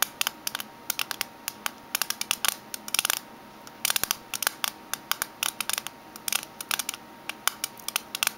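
Fingernails tap the metal side and rim of a small, closed, oval aluminium mint tin standing on its edge. About 46 quick, sharp, bright clicks come in uneven bursts, each dying away almost instantly with no low end.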